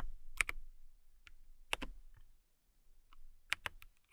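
Long nails and fingertips type on a compact transparent acrylic mechanical keyboard with clear plastic keycaps and a clear case. Sparse, bright, clacky keystrokes land in small clusters with brief pauses between them, each a sharp click over a low thud that dies away almost instantly.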